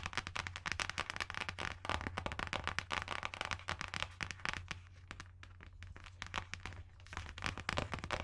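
A closed, solid dark green hardcover book with an embossed leaf design, held close to the microphone, is tapped and scratched by long nails across its cover. Dense, rapid, crisp clicks and scratchy crackles run continuously, bright and sharp with very short decay, over a steady low hum.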